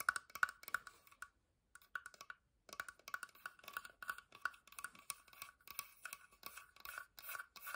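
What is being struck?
Wooden box.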